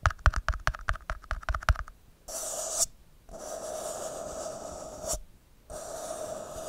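Fingertips and nails tap and scratch the side of an empty, thin red plastic party cup held close up. A quick run of sharp, hollow taps comes first, then longer stretches of bright, hissing scratches with a resonant ring around 600 Hz, broken by two short silences.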